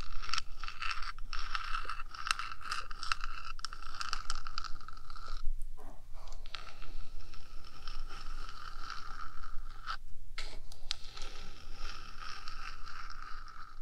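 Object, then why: Small hollow metal microphone housing. Long nails on both hands scratch and tap the top of the small, hollow, rectangular metal box body of a 3Dio binaural microphone. A dense, steady scratching with bright, rasping overtones and quick taps mixed in runs throughout over a low hum, pausing briefly around the middle and again about two-thirds of the way through.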